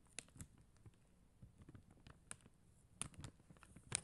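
Long acrylic nails tap the plastic gems on a flat acrylic rhinestone sticker sheet with a white backing as the sheet is rotated. About seven sharp, bright little clicks stand out over a faint, low rustling and handling noise. Each click dies away almost instantly.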